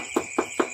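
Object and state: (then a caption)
Solid cement-filled door frame. Three short, dull knocks on a door frame that has been filled with cement sound solid, with a firm mid-pitched thud and almost no ring. A steady high-pitched tone runs faintly underneath throughout.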